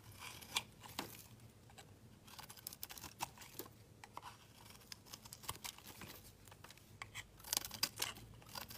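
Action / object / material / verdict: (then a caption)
scrape / bar of soap shaved with a metal blade / soap / none. A metal utility knife blade shaves thin slices off a solid, palm-sized oval bar of pink soap held in the hand. Quiet, bright scraping and crisp carving strokes crackle through the clip, each one short and dry with almost no ring.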